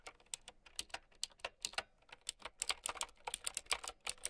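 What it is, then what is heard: Plastic mechanical keyboard, clicky keys. Fingertips and long nails type continuously on a mint and white plastic typewriter-style mechanical keyboard with round keycaps. Around twenty quick, clicky key presses sound bright and dry, each dying away almost instantly, with little low end beneath them.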